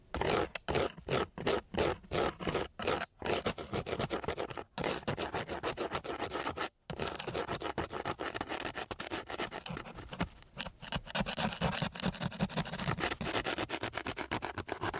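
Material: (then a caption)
Sandpaper. The end of a flat wooden stick is scraped across a flat, gritty sheet of coarse sandpaper. It starts as quick, separate rasping strokes, then becomes a dense, continuous rough scratching with a couple of brief pauses. The sound is broadband and harsh, with a bright gritty texture.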